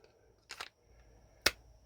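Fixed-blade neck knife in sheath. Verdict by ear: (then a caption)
Tight. A fixed-blade neck knife is shaken in its sheath, giving a brief cluster of soft, bright clicks followed by one sharp click against a quiet background. The retention is solid: the knife stays secure and does not rattle or shake.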